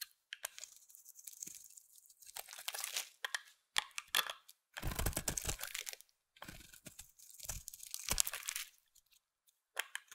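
A solid white bar of soap, held in the hand, is carved into a shape with a utility knife blade. The result is bursts of dry, crisp scraping and crunching, bright and hissy, with brief pauses between strokes and a few duller, lower-bodied cuts.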